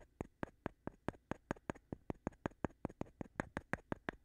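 A thin flat stone is tapped against the surface of a light wooden board held upright, while fingers rub and scratch over it. A steady run of 22 short, dry, clicky taps rings out, each dying away almost at once with a bright edge. A faint low hum sits quietly underneath.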